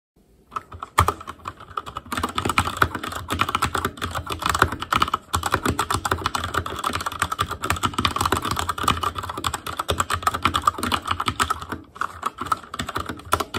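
A full-size backlit ASUS ROG Claymore Core mechanical keyboard with plastic keycaps on Cherry MX Red switches rests on a desk. Fingertips of both hands type rapidly on it, making a dense, continuous stream of sharp clacks with a clear tone near 1.4 kHz. Brief pauses come near the start, around five seconds, and near twelve seconds.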